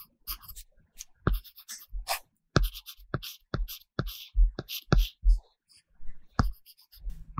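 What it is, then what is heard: Tablet screen with paper-texture film. A stylus in a pink case rubs and scratches across an iPad glass screen covered with a matte paper-texture film while shading. Short scratchy strokes with bright hiss alternate with soft, dull taps and low thuds from the tip on the film, in an uneven rhythm with brief pauses between bursts.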